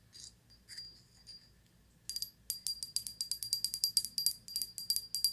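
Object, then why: Glazed ceramic pineapple figurine. Long white nails tap and scratch the textured leaves and body of a small, solid-looking gold-glazed ceramic pineapple figurine held in the hand. A few soft, sparse scratches come first, then a quick run of bright, clicky taps, each with a short, high, glassy ring that fades almost at once.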